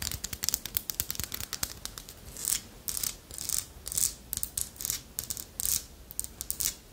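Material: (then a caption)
Wood. Long nails scratch and tap along the ridges and tail of a small, solid carved wooden armadillo figurine. Quick, dry, bright scrapes and clicks come in rapid bursts, each dying out almost instantly with no ring and little low end.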